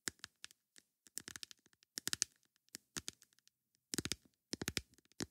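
Long nails tap on a plastic lid in quick, irregular bursts of sharp, bright clicks. Each tap is dry and stops instantly with almost no ring, leaving short pauses of silence between clusters.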